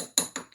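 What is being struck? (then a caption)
Lead wheel weight. An unmarked, dirty lead wheel weight, being sorted for casting, is tapped against something three times. Each tap is short and dull, with the ring dying away almost at once. It gives a thud rather than a ding, which is the sound test for identifying lead.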